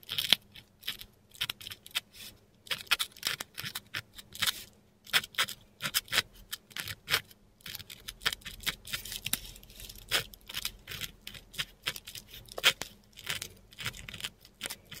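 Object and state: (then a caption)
Metal pen nib on textured paper. A metal dip pen nib scratches across a flat sheet of textured Korean paper while writing inked letters. Quick, dry, bright scratching strokes come in irregular bursts with short pauses between them, over a faint low steady hum.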